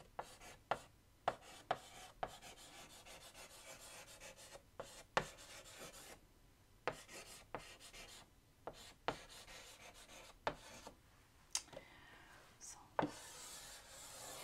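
White chalk held in the fingertips writes and underlines on a large flat black chalkboard in a wooden frame, giving steady soft scratching strokes. Sharp, brief taps of the chalk against the board punctuate the strokes. The clip ends in a brighter, hissy scrape.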